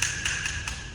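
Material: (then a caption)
Ceramic. A ceramic skirting board tile, already marked as hollow, is tapped three times to show the difference in sound. Each tap gives a bright, hollow click with a ringing tone near 1.7 kHz, revealing the tile is not well bedded.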